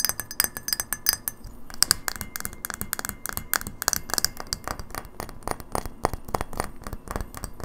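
Long natural nails tap quickly on a small, hollow incandescent light bulb of frosted white glass with a metal screw base, held in the hands. The result is a rapid stream of bright, sharp glassy clicks and clinks, each dying away almost instantly, over a low, soft background.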